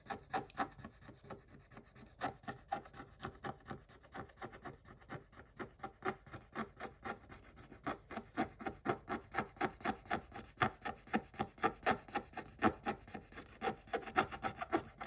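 A wooden stick scrapes the black coating off a scratch-art paper page, uncovering the image beneath. The sound is a rapid series of about 53 short, dry, raspy strokes at roughly four per second, centered in the mid-range. The strokes grow louder and sharper toward the end.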